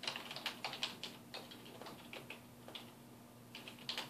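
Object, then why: Plastic computer keyboard. Fingertips of both hands type rapidly on a black plastic computer keyboard with a hollow housing, resting on a wooden desk. About nineteen short, bright key taps come in an uneven rhythm, each clicking sharply and dying away almost at once over a faint steady low hum.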